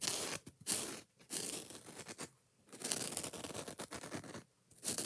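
Fingers and nails scratch the green scouring pad of a foam kitchen sponge held up close, making fast, aggressive, bright, rough scraping bursts. The bursts come in several dense runs separated by brief silent gaps, with little low end.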